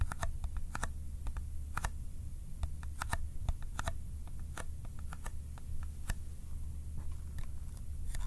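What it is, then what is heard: Cardboard box, fingertip tapping. A small, empty-looking Kodak ColorPlus cardboard film box, held up in one hand, is tapped with the fingertips of the other hand, making sticky-sounding finger taps. The taps are quick, dry clicks with a bright edge, coming in irregular bursts over a steady low hum.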